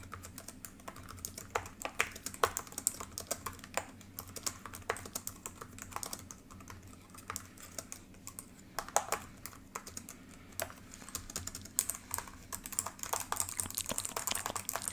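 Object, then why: Plastic laptop keyboard. Long pink nails and fingertips type continuously on the solid built-in keys of a black plastic ThinkPad laptop keyboard. The result is a steady stream of quick, dry, clicky taps with bright edges and almost no ring, plus a few sharper, louder clacks.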